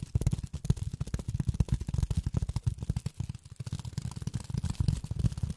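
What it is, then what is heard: Polyethylene foam tapped with fingernails. Long fingernails tap rapidly on polyethylene foam, producing a dense run of soft, dull, low-pitched thumps with very short decay. The taps blur into a continuous rhythmic patter, with faint bright clicking at the onsets.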